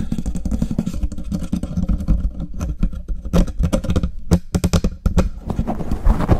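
Fast, aggressive scratching and rubbing with the fingertips and nails of both hands on a black foam windscreen fitted to a silver condenser microphone. The result is a dense, low, rumbling stream of crackling scrapes and thumps, with sharp bright bursts standing out in the second half.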